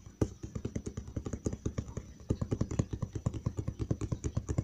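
Fingertips tap rapidly and lightly scratch the flat side of a large, hollow brown cardboard box. About three dozen quick, dull, low thumps land in a steady run, each dying almost instantly, with a faint papery scratch in the brief gaps between them.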